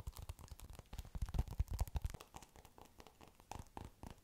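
A palm-sized polystyrene bead foam ball covered in blue and yellow foam beads is squeezed and scratched with long pink nails. Rapid, dense crackling and scratching bursts come through, heaviest in the low end and loudest in the first half before softening.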